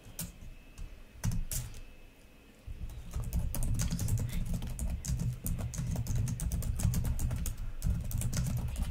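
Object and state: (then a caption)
Plastic laptop keyboard. Long nails type on the plastic keys of a black laptop keyboard, producing rapid, irregular bright clicks and taps over a low, steady hum. The clicking starts sparse, with a couple of louder taps early on, then becomes dense and continuous from about three seconds to the end.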